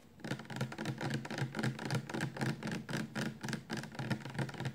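Fingertips and nails tap rapidly on the sides of an upright, 400 mL clear plastic shampoo bottle full of liquid. About 20 quick, slightly uneven taps each give a short, dull low thud with a light clicky edge, dying away almost at once.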